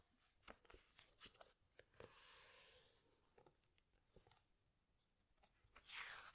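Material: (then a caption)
Paper. Fingertips and long nails press and rub the glossy paper pages of a large hardcover animal book, making a series of quiet, bright taps and crinkly scrapes. A soft, airy swish of a page turning rises and fades in the middle, and a louder bright crinkle of the paper comes at the end.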